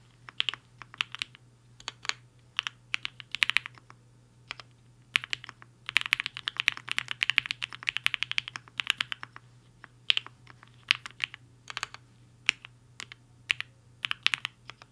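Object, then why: Mechanical keyboard with plastic keycaps. Fingertips of both hands type fast on a compact mechanical keyboard with a black case and white and pink plastic keycaps, resting on a desk mat. Bright, sharp clicky keystrokes come in quick bursts and short pauses, each click dying away instantly, over a faint steady low hum.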